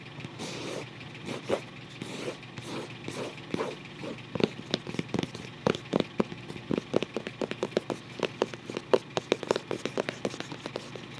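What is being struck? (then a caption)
Paper-covered cardboard album cover. Fingertips scratch and trace over the paper-covered cardboard front cover of a closed photo album resting tilted on a lap. Soft, dry scratching rasps start off smeared and gradually become rapid, crisp taps and scrapes with bright edges, many short clicks following each other closely.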